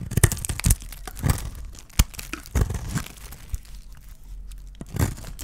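A hand-sized, solid lilac bar of dry soap is shaved into chunks with a small metal blade. The clip is full of crisp scraping and crumbly tearing sounds, with sharp broadband bursts over a soft low rumble.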